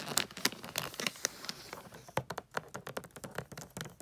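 Long acrylic nails tap and scratch a medium rectangular gift box wrapped in holographic foil paper with a pine tree print, lying on a fluffy rug. Quick, bright clicking taps are mixed with crisp, crinkly scratching across the foil, with most of the energy high and very little low end.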